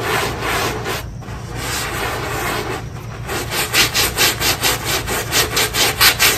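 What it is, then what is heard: Synthetic carpet tile being scrubbed. A handheld scrub brush in a yellow-gloved hand scrubs the pile of a small, square, foamy, wet synthetic carpet tile. It makes a bright, bristly rubbing hiss that starts as a steady scrub and then turns into quick, rhythmic back-and-forth strokes that swell and fade.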